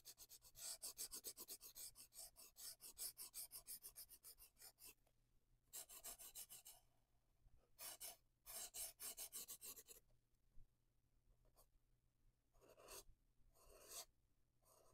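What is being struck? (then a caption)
Felt marker on a paper book page. A large twin-tip marker rubs back and forth on a page of a spiral paper coloring book resting on a wooden desk, filling in green areas while fingers with dark nails hold the book's edge. Rapid, bright, scratchy strokes run densely for the first five seconds, then return in separate bursts with quieter pauses between. A faint steady low hum sits underneath throughout.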